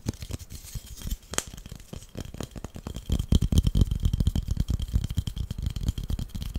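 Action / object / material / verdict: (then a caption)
tap / flat wooden incense holder / wood / none. Fingernails tap and scratch the top and edges of a long, flat, solid wooden incense holder held in the hands. The result is a quick, uneven run of dry, dull, low-heavy knocks with almost no ring, mixed with light scratching. The tapping grows louder and denser about halfway through, over a faint steady tone near 3 kHz.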